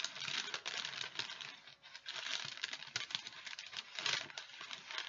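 A thin folded sheet of wax paper is held in both hands while fingers crinkle and fold it. The result is a continuous dense, bright crackling with rapid crisp clicks and very little low end.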